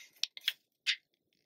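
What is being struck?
Glossy paper magazine pages.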